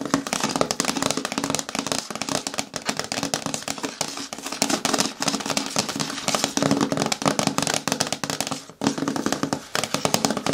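Fingertips and long nails rapidly tap and scratch the flat face of a green hard plastic bin with a lid, lying hollow on its side. Dense, crisp clicks and bright scratchy rasps overlap continuously, with a hollow mid-pitched resonance and very little ring after each tap. A brief pause near the end breaks the otherwise steady stream.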